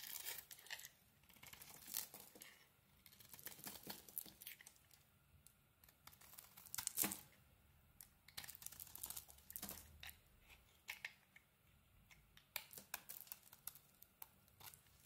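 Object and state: Bar of soap being carved.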